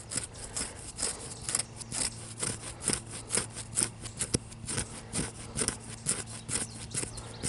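Fingernails scratch and rub the grey-brown bark of a solid young tree trunk up close. The result is a quick, uneven run of dry, bright scraping strokes, a little over two per second, over a steady low hum.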